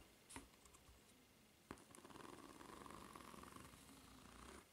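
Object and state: Rubber flip-flop sole, scratched.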